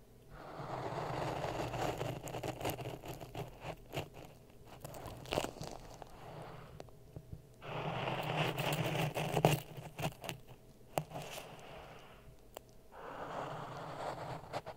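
A wooden stick held in the fingers pokes and stirs dry sand in a clear plastic cup, which is partly filled and sits on a red microphone. The stirring makes a gritty, crunching scrape in three louder swells, with quieter scratches and sharp ticks in between. A steady low hum runs underneath the whole time.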